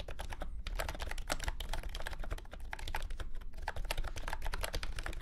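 A full-size beige and orange plastic keyboard with round typewriter-style keycaps and a hollow body sits on a grey felt mat and is typed on steadily with the fingertips of both hands. Rapid, overlapping key clacks die away almost instantly over a strong low, hollow thump, with only a little bright click on top.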